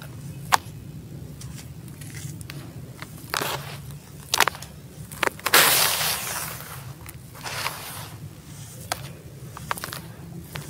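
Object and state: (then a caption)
Dry gritty sand-cement crumble. Bare hands scoop, squeeze and drop handfuls of dry, gritty grey sand-cement crumble onto a pile in a teal tub. Sharp, bright crunches and sandy scrapes stand out over a low, steady hum, with a longer gritty crumbling burst near the middle.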